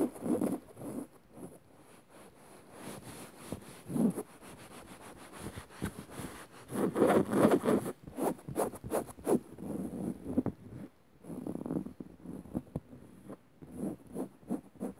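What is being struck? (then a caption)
Woven fabric upholstered sofa cushion. Long nails of one hand scratch the dark woven fabric of a soft padded sofa cushion. Soft, muffled scratching and rubbing comes in uneven bursts, each a quick rasp that cuts off almost at once. The strokes are quiet and low-mid, with little bright edge.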